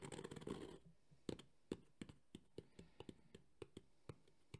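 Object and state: Hard EVA speaker carrying case.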